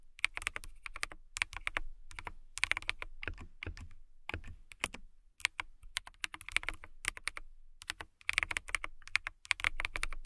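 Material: Acrylic.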